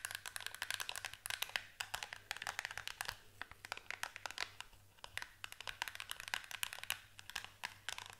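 Long acrylic nails rapidly tap and scratch a small, hollow, closed green printed cardboard product box held in both hands. A dense stream of crisp, dry clicks and scratchy crinkles comes in bursts of quick taps with brief pauses, each tap dying away almost at once. It is bright and quiet, with a faint steady low hum underneath.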